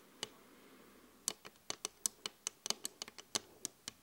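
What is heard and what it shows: Both hands tap quickly on a large, flat glass vanity mirror with an LED frame, using long acrylic nails and fingertips. About fifteen sharp, bright clicks and ticks sound in an uneven rhythm, each dying away almost instantly. A faint, steady hiss sits underneath.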